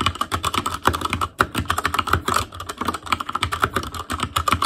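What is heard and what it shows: Fingertips of both hands type continuously on an ASUS ROG Claymore Core mechanical keyboard with Cherry MX Red switches, black plastic keycaps on a metal frame, and a hollow housing with RGB backlight. About thirty quick, dry keystrokes clatter in a steady stream, each a short click with a bright tone near 1.4 kHz and a low thud underneath that dies away almost at once.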